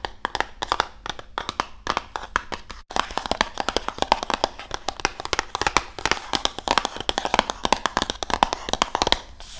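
A medium-size printed Risk board game box, hollow cardboard, is held up and tapped and scratched with long nails, then tilted toward the microphone at the end. Rapid, dry, crisp taps and clicks over a soft scratchy rustle fill the clip, with a brief pause just before the 3-second mark. The taps stop short with almost no ring and carry a papery, hollow, mid-pitched tone.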